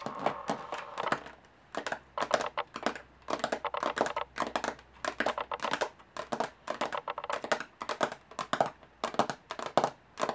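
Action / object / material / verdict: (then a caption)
tap / aluminum carry case / aluminum / none. Long nails tap fast on the textured lid of a closed, hollow aluminum carry case. The result is bursts of quick, dry, clicking taps with a light metallic tone around 700 Hz and almost no low end, separated by brief pauses.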